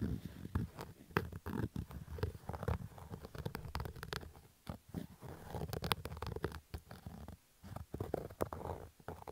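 Fingernails scratch across a black Adidas fabric baseball cap with a stitched brim, making rough, dry scratching and rustling bursts. The sound is mostly low and muffled, with quick sharp strokes separated by brief quiet gaps.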